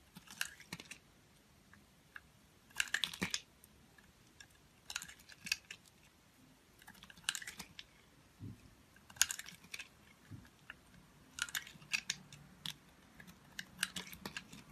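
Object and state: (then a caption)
Soap bar being scraped with a blade. A utility knife blade carves and scrapes a hand-sized white soap bar with a solid green wax coating, held in fingers with long nails, as white soap chips fall off. Crisp, bright scraping and crackling comes in short clustered bursts separated by quiet pauses, each stroke ending sharply with almost no ring.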